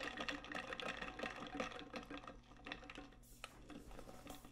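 Long nails tap and scratch rapidly on the body of a large, hollow, metallic pink stainless steel tumbler with a lid and straw. The result is a quiet, irregular run of soft metallic clicks with a short ring around 500 Hz and a scratchy, bright texture. The tapping thins out in the second half, with a brief bright scrape near the end.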